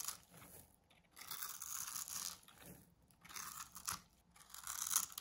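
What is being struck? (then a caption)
Bar of soap scraped by a small metal blade. A small metal blade shaves tiny cubes off a blue oval bar of dry solid soap, pre-scored in a grid and held in the palm, and the cubes fall away. Bright, crisp scraping and crunching comes in several bursts separated by brief quiet gaps, with almost no low end.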